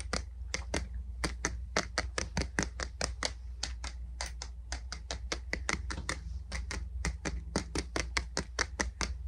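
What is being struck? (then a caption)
Wooden boot brush body. Fingers tap on the wooden body of a boot brush in a quick, steady series of short, dry, bright clicks that die away almost at once. A constant low hum sits underneath the whole clip.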